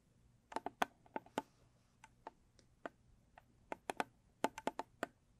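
Long stiletto nails tap the sides and top of a closed, hollow, medium-size square blue textured cardboard gift box. About 17 short, crisp, dry taps come in an irregular rhythm, with a hollow mid-pitched tone around 700 Hz and almost no ring after each hit.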